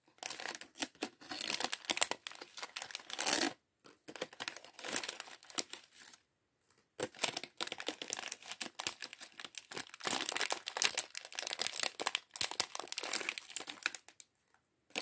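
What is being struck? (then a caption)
Soft plastic bag holding small plastic bricks. A small clear soft-plastic bag partly filled with small plastic LEGO bricks from the LEGO City sandwich shop set 40578 is held in both hands and crinkled and squeezed with the fingertips. Dense, bright crinkling and crackling comes in bursts, with brief silent pauses around 3.5 and 6 seconds and near the end. The sound is dry and thin with no low end.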